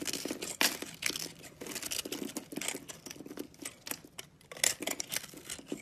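A box-cutter blade scrapes the scored pink face of a palm-sized round soap bar with an orange rim and pink core, held in one hand, crumbling off small cubes. Dense, bright, crisp scraping and crackling fills the clip in rapid bursts, with a few sharper snaps standing out.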